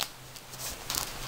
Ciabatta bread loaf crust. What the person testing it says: je sais pas si vous entendez hein, ça craque hein